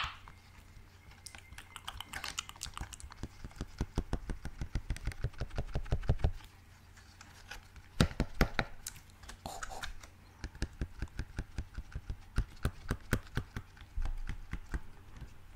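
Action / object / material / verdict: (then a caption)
tap / silicone push-pop fidget toy / silicone / none. A small yellow and green pineapple-shaped silicone push-pop fidget toy with hollow bubbles is held in one hand close to the microphone while fingertips press and tap its bubbles. It makes rapid runs of short, soft, dry pops and clicks over a steady low hum. A brief quiet gap is followed by a few louder, sharper pops, then more evenly spaced taps.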